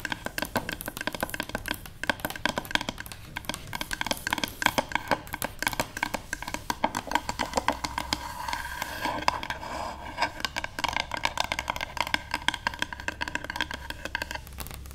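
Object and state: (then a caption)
Wooden paddle hairbrush. Long nails rapidly tap and lightly scratch the back of a solid, light wooden paddle hairbrush resting on a table. The result is a steady stream of short, dry, clicky wooden taps with bright edges, laced with faint scratchy rustles and a low, constant hum underneath.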